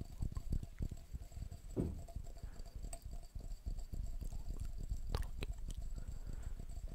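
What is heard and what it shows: A glass jar is tapped quickly and irregularly, making a dense run of soft, muffled taps with almost no ring. The sound is low and dull, with a few brighter clicks standing out near the end.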